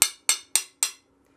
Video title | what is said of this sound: Sophie's Stained Glass - Leaded Glass : Teaching a Complete Beginner, Designing / Cutting | did you hear this change in pitch